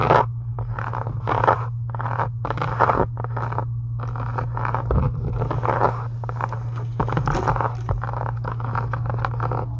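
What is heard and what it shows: A pink embossed faux-leather journal cover, solid, is scratched with long acrylic nails, giving repeated dry, rasping scratch strokes centered in the midrange around 875 Hz. A steady low hum sits underneath throughout. The strokes come in quick bursts that run together over the clip.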